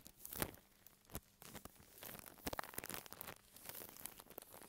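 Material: Plastic.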